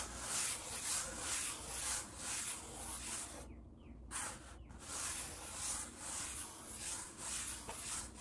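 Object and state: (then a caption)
Wooden tabletop. A palm rubs back and forth across a large, solid wood-grain tabletop, with fingertips tapping the surface. The sound is a quiet, bright, hissy swishing that swells and fades in steady strokes, about two per second. It drops out briefly just before the midpoint, then resumes.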